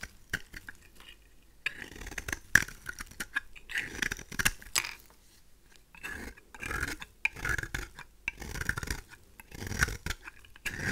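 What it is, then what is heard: Dry bar soap. A craft knife blade scrapes a pink, oval, marbled bar of dry rose soap, shaving it into curls. Crisp, dry scraping strokes come in uneven bursts with short pauses between them. Each stroke is bright and rasping and stops dead, with no ring.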